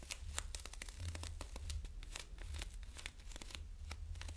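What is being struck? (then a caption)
Small cardboard box. Fingernails scratch and tap on a small, hollow gold Nescafé cappuccino box, likely cardboard, in a quick, steady run. Crisp, bright scratches and dry clicks sit over a constant low rumble, and each tap stops short with no ring.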